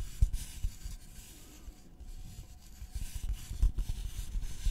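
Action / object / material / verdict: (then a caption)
scrape / thin flat wooden board / wood / none. Fingernails of both hands scratch a thin, flat, solid wooden notched trowel board with visible grain. The result is soft, dull scratching with low, thumpy taps and faint bright rasping, quieter in the middle before picking up again.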